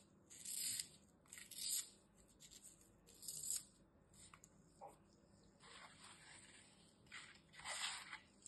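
A metal utility knife repeatedly scores and slices a solid green floral foam block, cutting strips off it. Each cut is a quiet, bright, dry scraping hiss with almost no low end, coming in short bursts separated by near silence.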